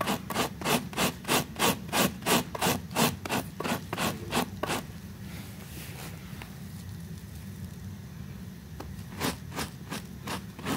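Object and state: Fabric rug being scrubbed.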